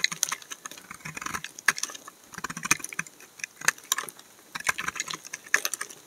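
A utility knife blade scrapes curled shavings off the narrow edge of a solid amber laundry soap bar held in the hand. The result is a run of crisp, bright, scratchy scrapes with sharp clicks and no ring, centred around 1.7 kHz and carrying little low end.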